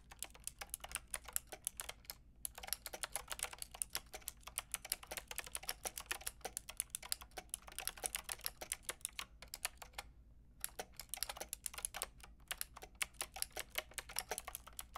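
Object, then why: Plastic mechanical keyboard. Fingertips with long red nails tap quickly across a Lofree plastic mechanical keyboard with a plastic frame and round keycaps. The result is a dense stream of short, bright clicks, with brief pauses near 2.3 seconds and between about 10 and 10.7 seconds.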